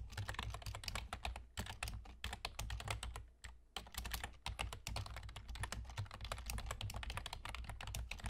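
Rapid tapping on a full-size black plastic computer keyboard with German key labels and hollow keys, typed with the fingertips of both hands with short nails. Dense bursts of short, bright clicks run nearly continuously, with a brief lull around the middle, over a steady low hum.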